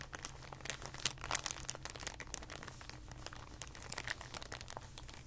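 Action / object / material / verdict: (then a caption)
scrape / thin plastic packaging bag / plastic / none. A clear plastic packaging bag, rolled into a tube, is squeezed and twisted with the fingers. It gives a dense, bright crinkling made of many sharp, quick crackles that stop instantly. A faint, steady low hum runs underneath.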